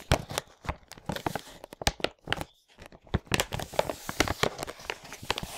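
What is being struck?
Plastic packaging bag of loose parts.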